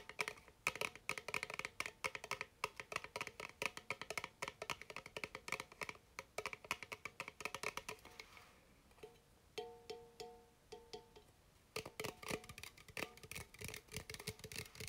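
A red bubly aluminum soda can, held in hand, is tapped and scratched with fingertips and nails, producing rapid, bright, clicky taps with short metallic tones ringing around 2.5 kHz and lower. The tapping thins out briefly around the ninth second, where a few sparser taps let the can's pitched ring stand out, then resumes densely to the end.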